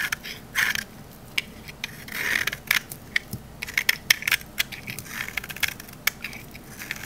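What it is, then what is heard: Olive oil bar soap. A metal utility knife blade scrapes a thinning, solid green olive-oil soap bar held in the hand. It makes a run of crisp, dry crunches and bright scratchy clicks, with a few longer rasping strokes between them. Each sound stops almost at once, with little low end.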